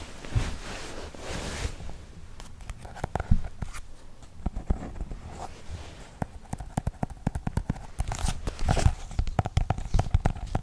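Fingertips and nails scratch and tap across the worn brown cover of a small, solid hardcover book printed with alphabet letters, held in both hands. A soft scratchy rustle opens, followed by a long run of quick, dry, muffled taps and scratches with a low thudding body. Each tap dies away almost instantly.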